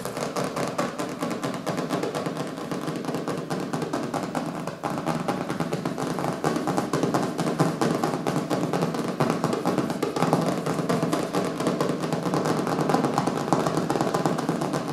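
Fingertips and nails of both hands tap rapidly on the colorful printed cover of a small, solid hardcover book lying on a wooden table. The taps blur into a dense, continuous patter of dull, low-mid knocks with little ringing, growing slightly louder after the first few seconds.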